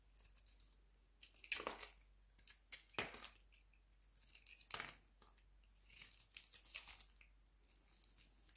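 A palm-sized, solid, translucent orange glycerin soap bar is held in one hand while a metal utility knife blade shaves and scrapes thin slices off its surface. Bursts of bright, crisp scraping and crackling come in quick strokes with short pauses between them. Yellow-orange shavings pile up below.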